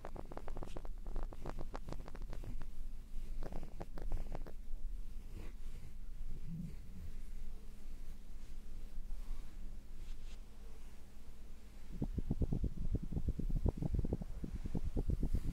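Hands hold and squeeze red synthetic-fur earmuffs on a mannequin head while fingertips brush the fur. The result is a soft, muffled, low rustle of quick scratchy strokes that eases in the middle and then picks up into a rapid run of brushing toward the end.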